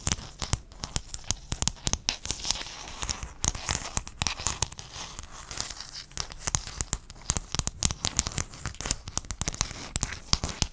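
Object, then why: Sheet of small hexagonal mosaic tiles. Fingernails scratch and tap across a sheet of small silver-blue hexagon mosaic tiles held in one hand beside the microphone. Rapid, sharp, bright clicks and ticks come in dense irregular bursts over a soft scratchy crackle. Each tap stops almost instantly with no ringing.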